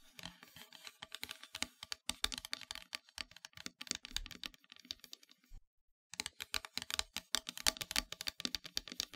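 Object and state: Painted wooden heart plaque.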